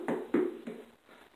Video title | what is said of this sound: HALLOWEEN SPECIAL! Trailer Class Episode 3 | hammer on it make sure it sounds hollow inside